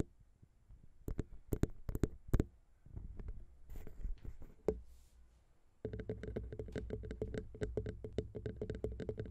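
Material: Metal.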